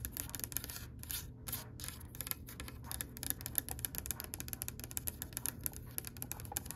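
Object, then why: Oak wooden tabletop. Long nails and fingertips tap rapidly on the top and edge of a solid oak-grain wooden table. The result is a dense run of short, bright clicks over a steady low hum.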